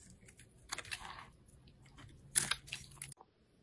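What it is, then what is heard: Soap bar being carved. A craft knife blade scrapes and carves grooves and flakes into a small solid yellow soap bar held in the hand. The sound is a series of crisp, bright scratching and crunching strokes with a faint low hum underneath, ending abruptly.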